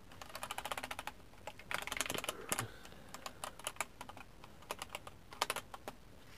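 Fingertips type and tap on a compact 60% mechanical keyboard with plastic keycaps and a red and white backlight. Short, bright plastic clacks come in quick bursts with brief pauses between them, each dying away almost instantly over a quiet background.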